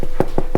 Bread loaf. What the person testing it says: ça sonne bien ah c'est pour ça qu'ils sont bien gonflés